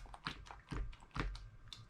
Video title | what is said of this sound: Tip #32 - Hydration Reservoirs | hear that water sloshing around that will absolutely drive you crazy while you're backpacking